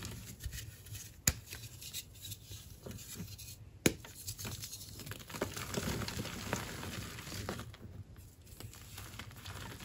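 Bare fingertips with short painted nails squeeze, crumble and rub apart chunks of a solid, dry, powdery white gym chalk block (magnesium carbonate), hand-sized and broken up on a tray of chalk powder. There is a soft, steady gritty crunching and crinkly scratching, with two sharp, brief snaps as pieces break early on, and the crumbling grows denser and brighter toward the end.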